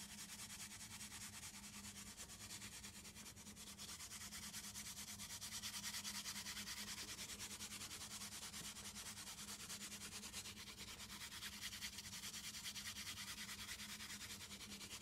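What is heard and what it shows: Long nails rub and scratch across a small, hollow brown cardboard box. The result is a steady, bright, papery scratching made of rapid, fairly regular strokes, with a faint low hum underneath and gentle swells in loudness.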